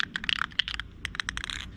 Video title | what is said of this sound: Audubon Bird Feeder paint job | shake the can till you hear the ball rattling at the bottom of the can